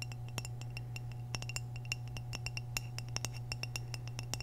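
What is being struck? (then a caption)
Glazed ceramic vase. Long nails tap the surface of an orange glazed hollow ceramic vase, held tilted, in a quick, irregular run of short, bright clinks. Each tap dies away almost instantly, with a high ringing tone. A steady low hum sits underneath throughout.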